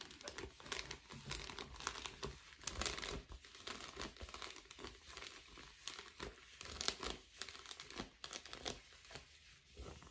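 An empty blue metallic foil bubble padded envelope is held in both hands while fingertips and nails scratch and squeeze it. This produces quiet, steady bright crinkling and crackling in quick, dense bursts that rise and fall throughout.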